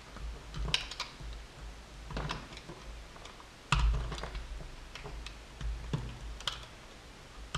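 A metal utility knife blade slices cubes off a small, solid blue and white soap block held in the fingers. It makes a run of crisp, bright clicking and snapping cuts, some sharper than others, over a steady low hum.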